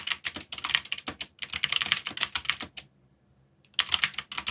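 Fingertips type on a backlit mechanical keyboard with black plastic keycaps, producing rapid, bright, clicky key strikes with very short ring. Bursts of taps run for almost three seconds, pause in near silence, then resume for the final second.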